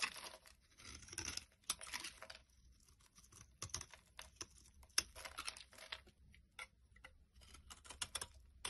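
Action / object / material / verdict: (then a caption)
scrape / bar of laundry soap / soap / none. A solid, tan, rectangular bar of laundry soap is held in the hand and shaved with a utility knife blade, so dry, crumbly flakes fall off. The result is quiet, bright, crackly scraping and crunching in short bursts and longer strokes, with very little low end.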